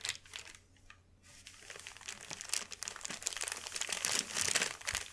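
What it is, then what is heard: Sheet of wrapping paper. A large, thin white sheet of wrapping paper lying flat on a velvet cloth is rubbed and pressed with the fingertips of both hands. Dense, bright crinkling and crackling starts softly, pauses briefly near the one-second mark, then builds into louder, busier rustling toward the end.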